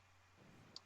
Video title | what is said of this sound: May 17/20 - Spooked in Seattle | you can hear the spring